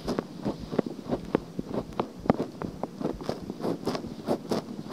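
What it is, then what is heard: Silicone microphone ear being scratched. Long nails scratch the outer ear of a pale pink silicone binaural microphone. The result is close, dry, rustling scratches in quick, irregular strokes with brief sharper clicks, sitting mostly in the low-mid range.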